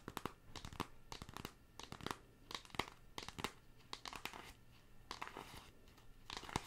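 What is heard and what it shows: Long pink acrylic nails tap and scratch the surface of a flat, closed pink cardboard eyeshadow palette with a black printed logo label, held in both hands close to the mic. Quick, dry clicking taps mix with bright, papery scratching bursts that crinkle across the clip, each stopping short with almost no ring.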